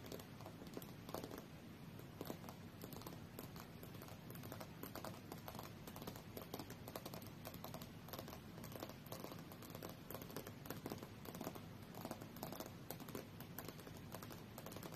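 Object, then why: Glass tablet touchscreen. A large flat tablet lies face-up on a fur rug while long natural fingernails of both hands tap rapidly across its solid glass touchscreen. The result is a quiet, continuous stream of short, dry clicks and patter with very little ring, sitting mostly in the low-mid range over a soft low rumble.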